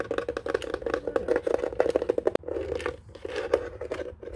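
Fingertips and nails tap and scratch rapidly across the hollow white plastic underside of a desk telephone base. The result is a dense run of quick, dry clicks and scratchy crinkles over a hollow resonance in the mid range. A brief sharp click and a short pause come midway before the scratching resumes more softly.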